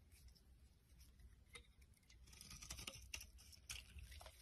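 A solid rectangular soap bar with an orange rim and pink interior is held in the hand while a utility knife blade carves and scrapes its face into flakes. Soft, irregular scraping and crisp bright shaving sounds patter over a quiet low rumble, with a few sharper cuts standing out toward the end.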